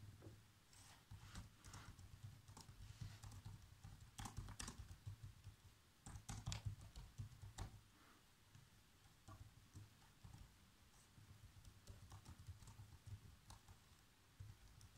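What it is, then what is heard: Plastic laptop keyboard being typed on. Bare fingertips with short nails tap continuously on the keys of a black plastic laptop keyboard. The result is quiet, soft clicks and patters with a steady low hum underneath. The typing comes in uneven bursts with brief pauses between them.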